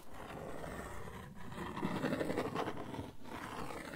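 Nails and fingertips scratch across the face of a flat brown cardboard sheet held in the hands, making a dry, rough, raspy scraping. The scratching comes in three passes separated by brief dips, with the texture mostly low and dull and little high content.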